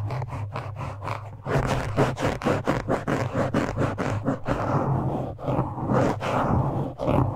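A black foam windscreen on a microphone is scratched and pinched with the fingertips and nails of both hands. The result is rapid, uneven bursts of close, muffled scratching and crunching over a steady low hum, growing denser and louder after the first second and a half.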